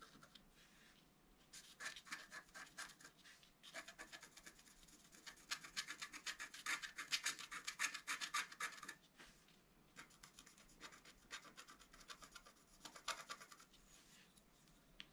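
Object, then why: Wax-coated scratch art card scraped with a wooden stylus. A thin wooden stylus held in the fingers scratches the black coating off a flat, wax-coated scratch-art card with a metallic layer beneath, showing a deer with flower antlers, while one hand steadies the card lying flat on a table. Quick, dry, bright scratching strokes come in bursts, with short pauses, growing densest and loudest in the middle before easing off. Each stroke scrapes away coating to reveal colour underneath.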